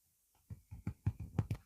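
Knuckles rap a quick series of soft, dull knocks on the golden-brown top of a baked garlic and rosemary focaccia. The low, hollow thuds die away almost instantly, showing the bread is fully cooked.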